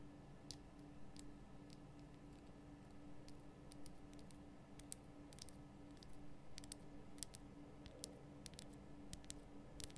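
Long painted nail tips tap a large, solid, lit pink Himalayan rock-salt lamp, making quiet, sharp, bright clicks that come in quick irregular clusters. Each tap dies away almost instantly over a steady low hum.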